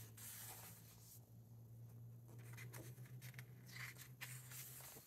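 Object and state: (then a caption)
Book pages being turned. Fingertips slide across the matte paper pages of a large hardcover book lying open on a wooden table and turn them one by one, making soft, bright rustles and papery flips. A steady low hum runs underneath the quiet, airy page sounds.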